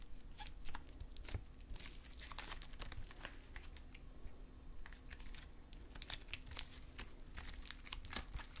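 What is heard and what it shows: Silver metallic stress putty is held in both hands while fingers pull it into strands, then squeeze and fold it back into a lump. Dense, quick crackling, popping and clicking sounds ripple over a low, steady background rumble.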